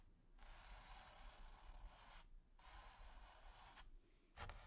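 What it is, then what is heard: Bristle brush scratching textured canvas. A splayed bristle brush is scratched and brushed over a flat, taut, textured primed canvas, producing long, dry, airy scraping strokes with a bright hiss. The strokes are separated by short pauses and end with a couple of quick, sharper flicks, all quiet over a faint low rumble.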